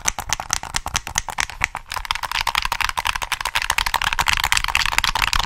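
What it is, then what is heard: Plastic game controller. Fingertips rapidly tap the shell of a hollow black plastic PS3 controller held in both hands and press its buttons. The result is a dense run of short, dry, bright clicks and taps with a thin low thump, growing quicker and more continuous toward the end.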